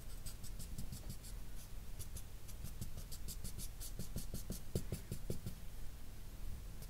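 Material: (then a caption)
Paper. A grey felt-nib marker rubs shading strokes back and forth across a flat sheet of drawing paper throughout. The strokes make a quiet, dry, papery scratching with rapid soft swishes and faint bright ticks. They come in a steady rhythm that grows a little denser toward the middle.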